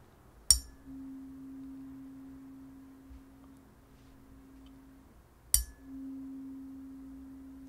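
A metal tuning fork built into a vintage perfume bottle design is struck twice, each strike giving a sharp, bright click. Each click is followed by a steady, pure tone of about 260 Hz that rings on for several seconds. The fork works as a functional tuning fork.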